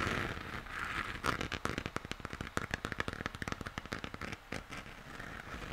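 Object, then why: Plastic moon lamp. Fingernails tap and scratch the textured surface of a hollow plastic moon lamp held in both hands, base toward the camera. A rapid run of sharp, dry clicks sits over a soft scratchy hiss centered in the upper mids, with brief pauses between bursts.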